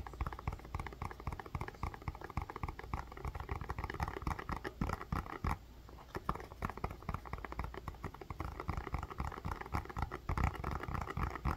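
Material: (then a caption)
Plastic. Long fingernails tap and scratch the rounded surface of a blue plastic bubble ice pack held in both hands. A dense, quick stream of soft, dull clicks and scratchy rustles carries a low, thuddy body, with a brief lull about halfway through before the tapping picks up again.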